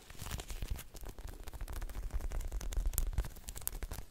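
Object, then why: Polyurethane foam squishy toy. A hand-sized, soft, solid striped ice-cream-cone squishy toy made of polyurethane foam is held in both hands and squeezed and scratched with long lilac nails. A rapid, irregular stream of short, dry crackling scratches and soft crinkly rustles plays over a low, muffled rumble, each sound dying away almost instantly.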